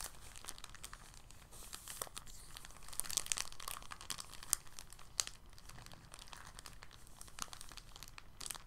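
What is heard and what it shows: An empty, thin clear polyethylene bag is held in both hands and crinkled and squeezed with fingertips and short nails. The result is a steady, quiet stream of soft, bright crackles and rustles, with brief sharper snaps poking out now and then.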